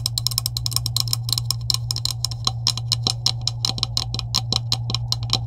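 Long acrylic nails rapidly tap a green hollow plastic PVC pipe with couplings, finishing with one hand doing the tapping. Dozens of quick, bright, clicky taps with almost no ring sound over a steady low hum.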